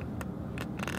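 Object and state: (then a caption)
Loose, rattling car floor panel. A loose floor panel inside a 2015 Range Rover L405 diesel rattles as the car is shaken a little, giving three short, bright clicks over a steady low-frequency cabin hum. The rattle is abnormal, and a piece of fabric is suggested to stop it.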